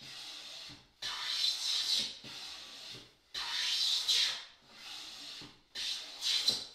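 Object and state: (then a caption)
Walnut board being hand-planed. A long solid walnut board resting on an oak workbench is planed along its edge with a metal hand plane held in both hands. Repeated shaving, rubbing strokes produce a dry, bright, hissy rasp with almost no low end, each pass swelling and then fading before the next.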